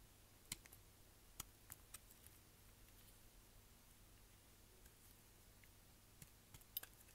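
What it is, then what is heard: Dry glycerin soap bar being cut. A utility knife blade repeatedly cuts and scrapes a solid, dry, green translucent glycerin soap bar with white stripes over a pile of soap chips. Eight short, crisp, bright clicks and snaps ring out irregularly, clustered near the start and end. Between them sits a quiet, steady low hum.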